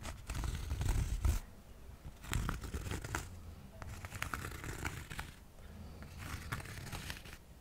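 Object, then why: Cork coaster. A small, solid, flat square cork coaster is held close to the microphone and scratched and tapped with fingertips and nails. Irregular bursts of dry, crackling scratches and soft, short taps come and go, with most of the energy low and muffled.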